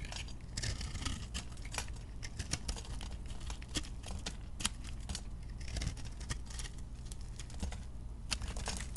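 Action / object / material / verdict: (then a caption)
scrape / bar of soap scraped with a metal blade / soap / none. A metal utility blade scrapes and carves shavings off a round, solid, dry-looking bar of recycled chunk soap held in the hand. Short, crisp, bright scraping and crackling strokes come in quick bursts throughout, over a steady low hum.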